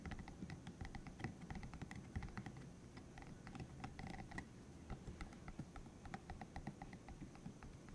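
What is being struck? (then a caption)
Spiky silicone massager. Fingertips tap and scratch across the soft spikes of a bright green, hollow, cylindrical silicone spiky massager about hand length, held in one hand. The result is a quiet, steady stream of quick, dry clicking taps with very short decay over a soft low rumble, much like rapid typing.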